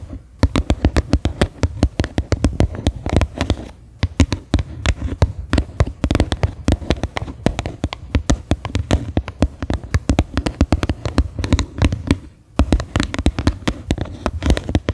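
Fingernails tap and scratch the flat bottom of a medium faceted white plastic bowl that sits upside down, hollow and empty. The result is a fast, continuous stream of short, dry, low, hollow taps with almost no ring, interwoven with light scratching. Brief pauses occur near 4 and 12 seconds.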